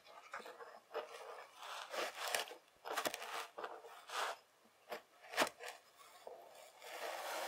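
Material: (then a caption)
Sand. The edge of a white plastic fork is drawn repeatedly through a pile of beige kinetic sand, slicing and scraping the packed sand. Each stroke gives a quiet, gritty, rasping scrape with no low rumble, brightening into a crisp hiss before fading into brief pauses. A softer, steadier scrape continues at the end.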